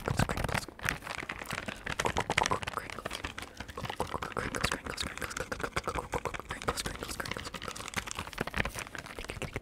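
A small, soft, hollow plastic packet of micellar cleansing wipes with a red label is held in the hands and tapped and scratched with fingertips and nails close to the mic. Rapid, dense crinkly taps and scratchy rustles run continuously, with bright papery texture and short, dry clicks.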